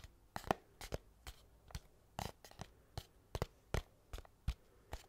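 A small, flat, hollow white cardboard mailer box, held in one hand, is scratched and tapped on its top with the fingernails of the other hand. About sixteen short, dry, crisp taps come at an uneven pace, each with a soft papery thud and a faint scratchy rasp. They are quiet and die away almost instantly.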